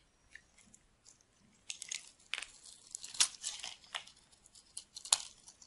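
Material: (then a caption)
Soap. A solid, dry, white oval bar of soap held in the hand is shaved with a metal knife blade. It makes quiet, crisp, bright scraping and crunching strokes that come at an irregular pace, with almost no low end and no ringing after each cut.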